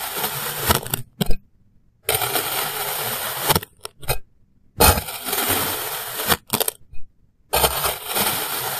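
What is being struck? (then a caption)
Molded kinetic sand sliced with a plastic knife. Small, solid molded shapes of yellow kinetic sand are sliced into thin layers with a clear plastic knife, cutting and scraping through them. Long, gritty, bright crunching passes alternate with short crackling bursts and moments of silence.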